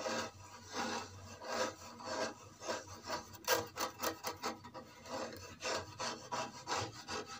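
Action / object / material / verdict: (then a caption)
scrape / small wooden box / wood / none. A small, solid-looking box of old reddish-brown wood has its top and side scratched and tapped by long red-painted fingernails. The result is dry, raspy scratching strokes broken up by short, bright taps.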